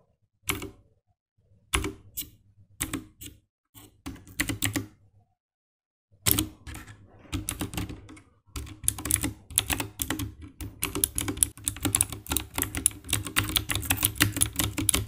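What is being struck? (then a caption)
Plastic mechanical keyboard. A compact 60% mechanical keyboard with dark grey plastic keycaps and RGB backlight, in a hollow plastic case, lies flat on a grey desk as fingertips type fast on the keys. Short, sharp clacks with a hollow low thock come in scattered bursts with pauses at first. They then build into a dense, steady stream of rapid typing.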